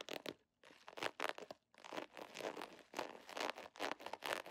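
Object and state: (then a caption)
Plastic foil pouch. An iridescent holographic plastic foil pouch with a scale pattern is held in the hand and scratched, tapped and crinkled with long nails. Fast, bright crackling and crinkling bursts come in quick succession, broken by two brief silences. The sound is dry and crisp, with no low rumble.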